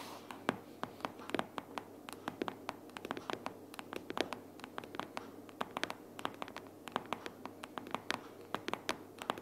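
Long purple fingernails tap on a closed pink paperboard sticky notes organizer, first with one hand and then with both hands. A quick, irregular run of dry, sharp clicks with almost no ring sits over a faint steady hiss, each tap bright with a slight hollow papery body.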